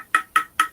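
A one-off woven-weave graphite guitar neck made by Status Graphite is tapped three times, with a fourth tap cut off at the end. Each tap is a dry, hollow knock, much like a wood block, centered around 1.3 kHz with a very short ring. The tapping reveals a fibrous character in the neck's sound.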